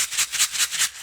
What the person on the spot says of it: So that way when you shake it around, you can really hear you can hear it moving around in there.